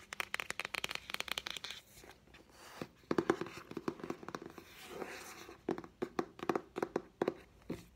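A green Greek-edition Diary of a Wimpy Kid paperback, a solid block of paper pages with a thin card cover, is held in the hands while fingernails tap and scratch its cover and spine. Quick, dry clicking taps come in rapid clusters with a hollow papery tone around 340 Hz. Softer brushing scratches fill the quieter stretches between them.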